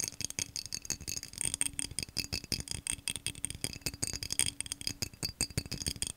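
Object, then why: Textured cut-glass vase. A tall, hollow, empty cobalt-blue vase of textured, cut-pattern glass is held upright and tapped rapidly with fingernails. A fast, dense run of sharp, bright clicks with very short ring fills the clip, with a faint steady low tone underneath.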